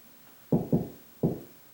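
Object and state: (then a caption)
Hollow drywall ceiling between joists. Three knocks on a drywall ceiling, made to locate the joists without a stud finder, land in quick succession as short, dull, low-pitched thuds with almost no ring. The spot sounds hollow, meaning there is no joist behind it.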